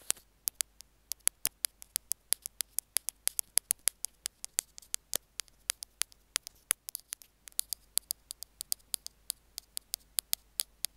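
Two metal ear-pick tools tap and scrape along the casing of a small white plastic Apple earphone mic/remote, making about 59 sharp, bright clicks. The clicks are dry and cut off instantly, with almost no low end, over a faint steady hiss.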